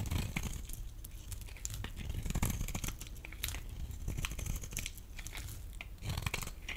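A solid, rectangular, pale yellow bar of dry laundry soap held in the hand is scraped with a metal blade. The result is a steady, dry crunching and crackling rasp, with bright, brittle flecks riding over a heavy low rumble.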